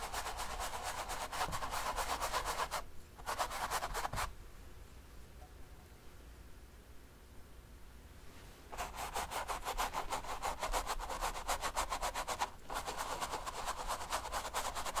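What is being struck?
Stretched canvas with wet oil paint.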